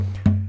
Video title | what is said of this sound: How to work out the body pitch of you guitar. | you tap the soundboard in the area where the bridge would be located, and you get this note